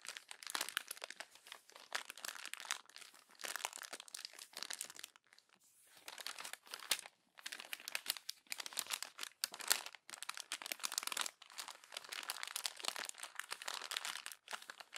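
Glossy paper magazine pages are crumpled and scrunched by hand with long nails on the open magazine, giving dense, bright crinkling and crackling in bursts with short pauses between them. The sound is quiet and almost entirely high-pitched, with no low end.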